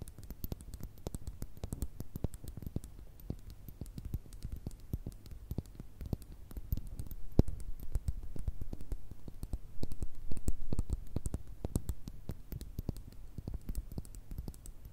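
Long red nails tap and scratch on a small, hollow, partly filled frosted glass pocket perfume bottle and its faceted blue cap. Many quick, irregular clicks and light scratches follow one another, dull and low with almost no ring, swelling slightly louder near the middle and end.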